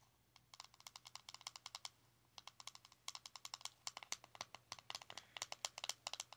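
A small round plastic blush compact with a metallic rim rests on fabric while its lid is tapped with long nails. About 41 quick, bright, dry clicks come in rapid runs, with a short pause after about two seconds, over a faint low hum.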